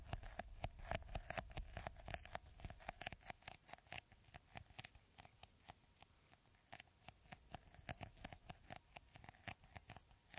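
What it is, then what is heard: Plastic bottle with beaded top. Fingertips and nails scratch the green beaded top of a clear, hollow plastic bottle held upside down. Dozens of quick, irregular, crisp clicks and scrapes patter over a faint steady hollow tone. A low rumble sits underneath early on, and the clip is quiet overall.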